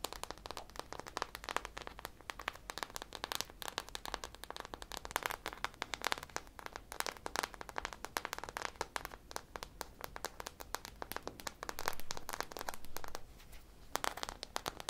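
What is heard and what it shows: Long painted nails rapidly scratch and tap a hand-sized, solid polyurethane foam squishy popsicle with a purple drizzle coating, held close to the mic. The result is a dense, continuous stream of dry, crackly clicks and soft scrapes, with a brief stretch of steadier scratching near the end before a short quiet pause and a few final taps.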